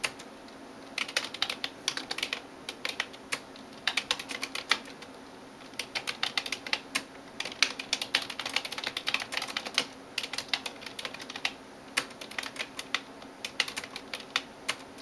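A hand types on a backlit plastic computer keyboard with fingertips and nails in rapid taps. Bursts of bright, sharp clicks with almost no ring follow one another, separated by short pauses.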